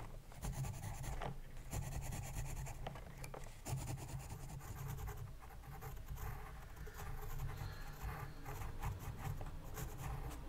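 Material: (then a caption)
Paper. A pencil tip scratches and writes across the paper page of an open spiral-bound sketchbook resting on a desk. The continuous dry, rasping scratch carries faint bright streaks over a steady low rumble.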